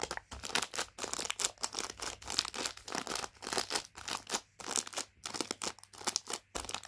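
A palm and fingers press and crinkle the plastic of a Rich Tea Fingers biscuit packet. The result is a steady run of short, bright crackling bursts with almost no low end, each cutting off quickly into brief gaps.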